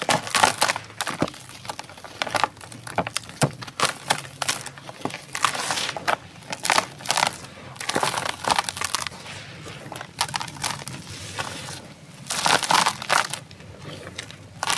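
Bare hands break a packed chunk of dry grey sand-cement powder in a tray inside a tub, then press and crush the powder flat with the palms and fingers. The result is a steady run of dry, gritty crunching and crumbling bursts, bright and crackly, with soft grainy rustling between the louder crushes.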